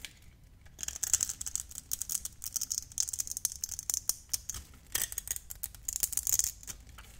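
A metal utility blade shaves small cubes off a hand-sized, hand-held bar of light green translucent glycerin soap that has been scored in a grid. After a brief quiet start, there is a rapid run of crisp, bright scraping crackles and sharp ticks that die away almost instantly, with very little low end.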